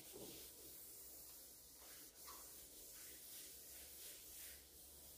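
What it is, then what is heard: Varnished wooden table top being buffed. A green rubber-gloved hand rubs and buffs the glossy reddish-brown varnished top of a large solid wooden dining table with a white cloth and beeswax. The result is a quiet, continuous, hissy rubbing sound, mostly bright and high, that swells and eases gently as the cloth sweeps back and forth.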